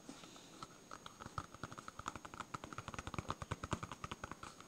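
A solid, yellow smiley-face polyurethane foam stress ball is scratched and tapped with fingernails. About 29 short, dull taps are heard, each with a soft low thump and a brief mid-range click that dies away almost at once. The taps come faster and a little louder toward the end over a faint, steady hiss.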